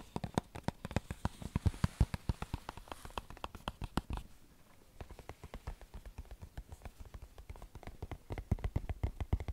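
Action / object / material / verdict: tap / small printed cardboard tea box / cardboard / none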